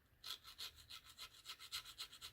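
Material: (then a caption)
Plastic. A Benchmade Bugout folding knife's Grivory glass-filled nylon plastic handle is scratched in about ten quick rhythmic strokes, each a dry, bright, raspy scrape with almost no low end. It is the light, hollow plastic sound expected from a lightweight plastic handle, not a defect.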